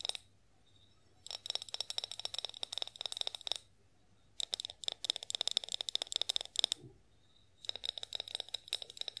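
Long nails tap quickly on a tall, hollow, clear glass olive oil bottle with a pour spout. The taps come in three bursts separated by short pauses, each one a bright, dry click with a faint glassy ring near 3.6 kHz that dies away almost instantly.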